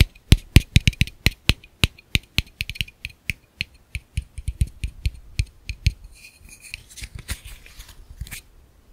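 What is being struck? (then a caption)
Plastic camera lens cap. A round, hollow black plastic camera lens cap is held in one hand and tapped rhythmically on its face and rim with fingertips and short nails. The result is a quick run of around 25 dry, clicky taps, each with a hollow low thud and a bright click that dies away almost instantly. Toward the end, the taps grow quieter and mix with light scratchy rustling before fading out.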